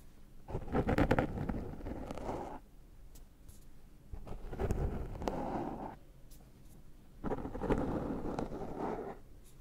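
Fingertips and nails scratch and pick at the surface of a black foam windscreen on a Zoom microphone. Three rough, close scratching bursts are heard, each lasting about two seconds with quieter gaps between. The sound is muffled and low-heavy, with little high-end content.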